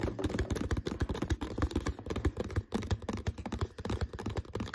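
Fingertips and nails rapidly tap and scratch the label area and body of an empty, hollow, clear plastic water bottle with a green label and no cap. A dense stream of short, hollow, low thumps mixes with soft crinkly scratching, each tap dying away almost instantly.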